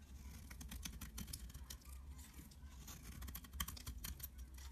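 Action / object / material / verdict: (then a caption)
scrape / bar of soap shaved with a blade / soap / none. A utility-knife blade scrapes and shaves flakes off a solid mint-green rectangular bar of soap held in the palm. The result is a rapid run of short, dry, crisp scratches with bright high-end hiss, over a steady low hum.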